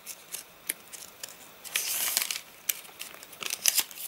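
Fingertips pinch and crinkle the page edges of a rain-dried, rain-warped paper catalogue and flip its pages. Bright, crisp crackles and sharp ticks come in quick, short bursts, with a longer rustling sweep in the middle as a page turns. The sound is dry and high with no low end.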